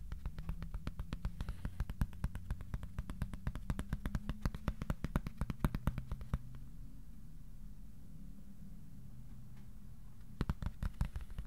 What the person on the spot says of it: this cardboard piece that sounds like heaven